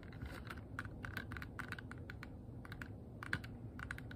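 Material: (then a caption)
Plastic. A small, hollow, transparent rigid plastic box that appears empty is tapped and scratched with long nails close up. Quick, light clicking taps with a hollow resonance around 1.5 kHz sit over a soft scratchy rustle and low rumble, each tap dying away almost at once.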